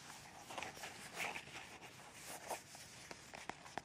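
Long red nails tap and scratch near the small cap of a white plastic squeeze tube of Kalaya pain relief cream, which is hollow and partly full. The scratching is a soft, bright, continuous rasp, broken by light, dry plastic taps that stop almost at once. The overall sound is quiet and delicate.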